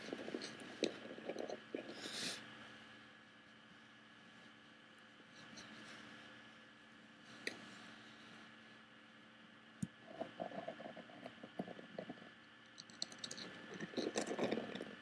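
Fingers and nails scratch and tap the woven front panel of a hollow woven bamboo-covered box, working toward the metal clasp near the lid seam. Dry, crackly scratching comes in bursts at the start and end, with a few sharp taps in between and a quieter stretch in the middle. A faint steady hum sits underneath throughout.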